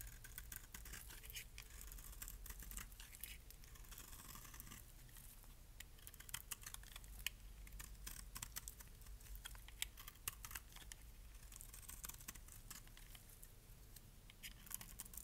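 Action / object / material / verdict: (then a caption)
scrape / bar of soap shaved with a metal blade / soap / none. A metal blade shaves flakes off the faceted edges of a solid, palm-sized green bar of dry soap held in the hand. Quiet, dense, crisp scraping and crackling runs throughout, with sharp bright clicks popping out over a steady low hum.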